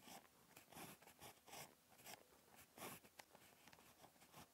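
A ballpoint pen tip scratches across a flat, lined paper notebook page while handwriting, giving quiet, dry, bright scratching strokes in short bursts. The page and pen make repeated crisp scrapes with little low end and almost no ring.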